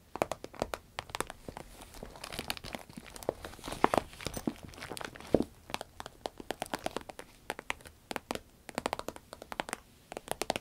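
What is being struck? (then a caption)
Soft vinyl zip pencil case. Long red nails tap, scratch and squeeze a small, hollow, soft, cylindrical shiny green vinyl zip pencil case. Dense, quick, dry clicks and crinkles of the vinyl run throughout, with a few louder sharp taps standing out.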